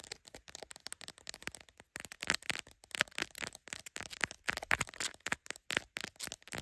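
Long acrylic nails of both hands rapidly tap and scratch the glass camera lenses and lens bump of a smartphone in a clear plastic case held in a black clip holder. The result is a dense stream of sharp, bright clicks and scratchy crackles with almost no low end, each one dying away instantly.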